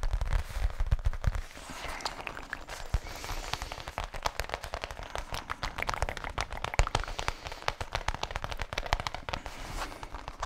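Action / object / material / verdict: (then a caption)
tap / faux leather zippered case / faux leather / none. Fingertips tap quickly on the front face of a flat black faux leather zippered case held against the chest below the mic. The result is a dense, crackling patter of short, dry taps with very little ring, mostly low and thumpy, with heavier low thumps in the first second and a half.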